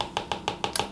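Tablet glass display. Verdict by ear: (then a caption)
Hollow. Six quick taps on the glass screen of an Apple iPad 10 (2022) give short, hollow clicks with a bright ring around 820 Hz. The hollow sound comes from an air gap between the cover glass and the panel, because the display is not fully laminated and uses an older display construction.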